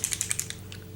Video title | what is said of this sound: Sephora Play Review + June Unboxing | You can hear that. It has something in it, so we're gonna shake it up.